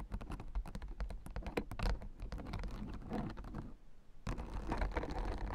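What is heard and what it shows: Long nails tap and scratch rapidly across the white plastic spiked rosettes of a blue acupressure mat. The result is a fast, dense patter of light clicks and scrapes with a low, soft undertone. The sound briefly thins out near the end, then resumes.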